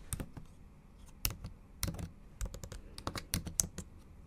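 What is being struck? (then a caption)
Laptop keyboard, plastic keys. Long acrylic nail tips and fingertips tap the backlit black plastic keys of a MacBook Pro laptop keyboard in a silver aluminium body in a typing motion. About a dozen short, sharp, bright clicks come in uneven bursts, each dying away almost instantly over a low, quiet background.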